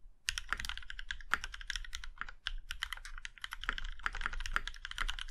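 Fingertips of both hands type steadily on a compact Iron 165 mechanical keyboard with a plum-red aluminum case and black keycaps. The result is a fast, continuous stream of crisp, bright clacks with short, dry decays over a soft low thock beneath each keystroke.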